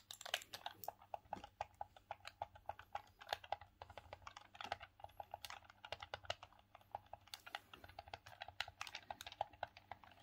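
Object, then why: Hard plastic hand-held game controller. Thumbs rapidly click the face buttons and D-pad of a grey, hollow, hard plastic Sega Saturn hand-held gamepad. The result is a quiet, steady stream of short, dry plastic clicks with a mid-range tone around 800 Hz and bright tops. Each click stops almost instantly.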